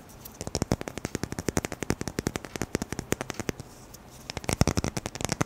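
A hollow-centred roll of black adhesive tape on a red and white patterned core is held up and tapped quickly with fingertips and nails. Dozens of short, dry, crackly taps come in fast bursts, with a brief pause near the middle before a denser run resumes.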